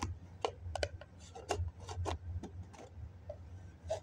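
A fingertip and nail scratch and rub the side of a hollow white foam cup that has a plastic lid on at first. Short dry scrapes and sharp ticks come at an uneven pace over a steady low hum.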